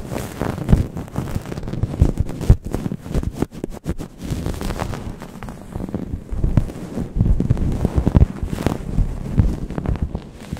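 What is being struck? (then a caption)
Microfiber towel covering a microphone. A grey microfiber towel covering a Blue Yeti microphone is rubbed and scratched with long painted nails, at both fast and slow paces. It makes a dense, muffled rumble of scratchy scrapes and soft thumps, mostly deep bass with little treble. Sharper bursts stand out against a constant low friction noise.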